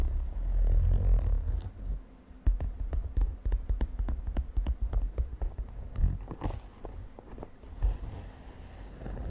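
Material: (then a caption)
Synthetic fabric. Long nails tap and scratch a mint-green glittery synthetic fabric makeup pouch with a zipper. Rapid, irregular, short dry taps ride over a low, muffled rumble, with brief scratchy rustling between them.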